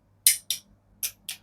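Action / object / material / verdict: knock / aluminium fishing reel part / aluminium / none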